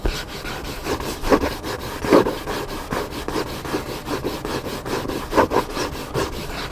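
Fingertips and nails scratch the cover of a hardcover book with a black spine lying flat, producing a steady, dry rasping. The strokes repeat in a loose, uneven rhythm, with a few louder, fuller swipes standing out against the continuous scratchy texture.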